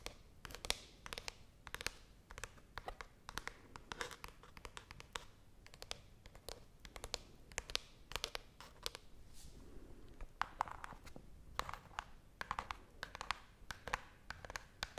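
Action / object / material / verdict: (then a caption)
scrape / small cardboard box / cardboard / none. A small, hollow brown cardboard box held near the microphone is scratched and tapped on its surface with long nails. Quick, dry clicks and scratchy rasps follow one another in a busy, uneven stream, each sound bright and cutting off almost at once with no ring.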